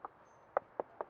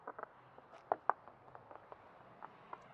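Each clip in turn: First: Four short, dull knocks in the mid range, with no ring, from a hollow wood-framed column. Second: Quick, dull knuckle knocks with no ring: a solid concrete block wall.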